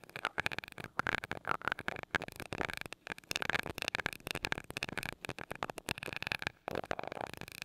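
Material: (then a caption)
Metal mesh. A glass rod taps rapidly on the small gold metal mesh grille of a mini mic. The result is a dense run of crisp, bright ticks with a faint ringing tone near 1.4 kHz. Each tap dies away almost instantly, with only brief pauses between bursts.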